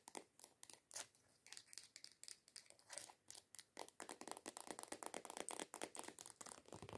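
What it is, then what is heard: Plastic lotion bottle. Long decorated acrylic nails tap and scratch the surface of a medium white plastic coconut body lotion bottle ("Cocco vellutata corpo"), lying on its side, hollow, with contents unknown. The quick, dry clicks and crinkly scrapes are bright with almost no low end and die away at once. They start as separated bursts and become a dense, rapid, irregular patter in the second half.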